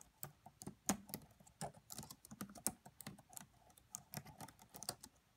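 Fingertips with long French-manicured nails tap the black plastic chiclet keys of a red laptop with a hollow body, both hands typing quietly. Short, dry clicks come in an uneven, steady run, each with a bright tick and a soft hollow low knock that dies away almost at once.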